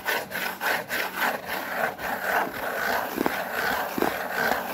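A white cardboard Priority Mail box is rubbed with the palm and fingers, producing repeated soft, dry scratchy strokes with a brushing hiss. The strokes swell and fade in a loose rhythm, with a few sharper scrapes toward the end.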